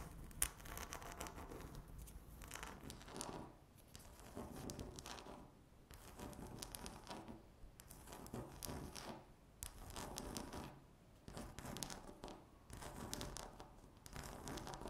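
Long natural fingernails of both hands scratch and tap a flat, solid, speckled granite-look laminate tabletop. Dense bursts of dry, rasping scratching come in waves lasting a second or two, separated by brief quieter gaps, over a faint low rumble. Scattered light taps add crisp, bright clicks.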